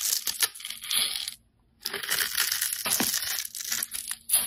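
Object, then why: Bar of soap cut with a metal blade. A metal utility blade scores and scrapes a handheld solid teal bar of soap, leaving crumbly cubes. Bright, crisp scratching and crunching comes in dense bursts, broken by a short silent pause before the carving resumes.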